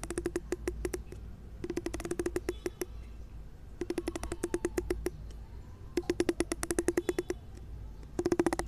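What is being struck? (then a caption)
Plastic wide-tooth comb. A fingertip plucks the solid teeth of a large pink plastic wide-tooth comb, making rapid runs of short, dry ticks with a hollow tone near 340 Hz. The ticks come in five bursts separated by brief pauses, over a faint low rumble. Each tick stops almost instantly.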